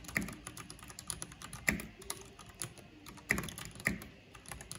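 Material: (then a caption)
Plastic. Two hands with long nails type quickly with their fingertips on a mechanical keyboard with black plastic keycaps and purple backlighting. The result is a steady stream of short, bright plastic clicks and clacks, with four louder keystrokes standing out above the rest.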